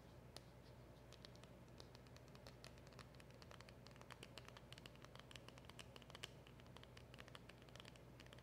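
Long acrylic nails tap and scratch across a small, hollow black cardboard box and the round emblem sticker on it. The result is a quiet, steady stream of quick, bright clicks and dry scratches with almost no ring, over a low, constant hum.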